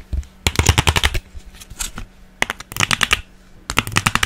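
Long painted nails tap and scratch fast across the ribbed underside and cells of an empty, hollow blue plastic ice cube tray, about 25 cm long, held in one hand in front of the microphone. Quick bursts of dry, bright clicks with a hollow low thump come in three flurries separated by softer scratching. Each tap stops almost instantly, and a faint steady low hum sits underneath.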